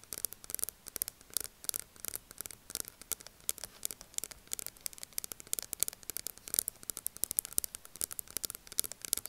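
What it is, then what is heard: Plastic powder jar tapped and scratched with nails. Long nails tap and scratch rapidly on the side of a small round plastic loose powder jar with a black plastic lid, held on a table. The result is a quiet, dense stream of sharp, bright clicks and scratchy ticks with almost no low end and no ring.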